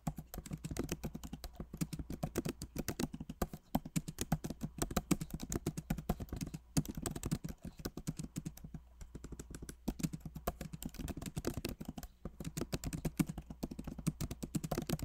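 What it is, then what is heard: Laptop keyboard typing. Both hands type rapidly with their fingertips on the backlit Magic Keyboard of a MacBook Pro, which has plastic keycaps set in an aluminum body. The result is a dense, continuous stream of soft, short key taps with a low, muted thock and very little bright click. Brief pauses break the flow now and then.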